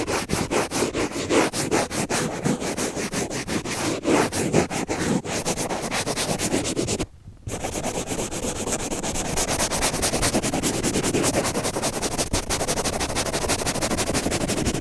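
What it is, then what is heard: Kitchen sponge scouring pad. Fingernails scratch quickly and aggressively across the green scouring pad of a kitchen sponge, making a dense, rapid, sanding-like rubbing with a bright, gritty texture. The scratching breaks off in a brief silence just past the halfway point, then resumes as a steadier, continuous rasp until the end.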